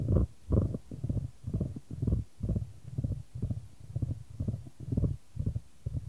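A solid, light wooden ball rolls around a shallow square wooden tray held in white-gloved hands, and tilting the tray sends it rolling back and forth. This produces a series of soft, deep, rumbling rolls that swell and fade in an uneven rhythm, about twice a second. The sound is mostly low-pitched with little brightness.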